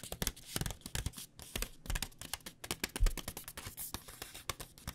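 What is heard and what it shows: A flexible plastic pouch of dry rice noodles, held upright, is tapped quickly and steadily with long painted nails. Each tap gives a short, dry crinkle with a soft low thump and a bright plastic click, and the taps run together in an irregular pattern with no lingering ring.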